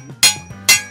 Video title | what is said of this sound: JAPAN SURPLUS AS LOW AS 10 PESOS LANG MAY MABIBILI KA DITO SA SURPLUS SHOP SA AVENIDA | Maganda yung tunog. Kasi maganda kasi ang metal ito. Talagang bakal talaga.